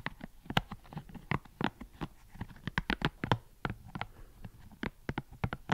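Fingertips flick and pluck the soft spikes of a hand-sized green silicone scalp massager, with solid rubbery bristles on a hollow dome base, close to the microphone. The result is an irregular run of about twenty short, dry plucks and taps, each with a soft low thump and a brief bright snap. They die away almost instantly over a quiet background.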